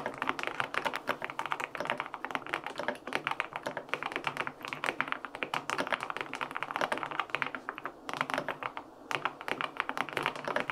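Fingertips and short nails type rapid taps on a white LINK65 mechanical keyboard with an aluminum case, white and pink plastic keycaps, and a hollow body with foam inside. The result is a steady stream of short, crisp clicks with a mid-range clack, a little brightness, almost no low thump, and no ringing. A brief lull near the nine-second mark interrupts the typing.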